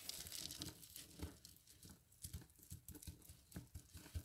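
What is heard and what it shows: Hands press, squeeze and rub a pile of dry soap flakes, crushing them. The result is a soft run of crisp, bright crinkling and crunching with dull low thumps as the flakes are pressed and rubbed.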